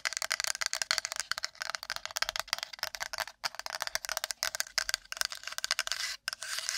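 A wooden plate is tapped and scratched quickly with long nails. The result is a dense, continuous stream of rapid, bright clicks and scratchy rasps, all high-pitched with nothing in the low end. Brief pauses break the stream.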